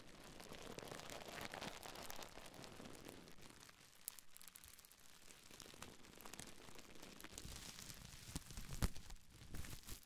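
A small folded bundle of clear, air-filled plastic bubble wrap is held in both hands and crinkled, scratched and pressed with long nails and fingertips. The result is a quiet, steady bed of crackling and rustling with many small crisp ticks. A few sharper clicks stand out, the loudest near the end.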